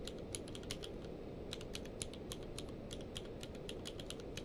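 Both hands type rapid fingertip presses on a full-size mechanical keyboard with a blue-grey case and white and grey plastic keycaps, lying on a blanket. A quick, uneven stream of sharp, bright plastic clicks rises over a steady low rumble, at a soft, even level throughout.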